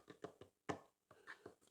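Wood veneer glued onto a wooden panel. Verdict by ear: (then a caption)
Solid. A wood veneer, vacuum-bag glued onto the wooden panel of a dog bench, is tapped eight times across its surface to check for air pockets. Each tap gives a short, dull, solid knock with almost no ring and no hollow sound. The veneer is judged well bonded, with no air pocket.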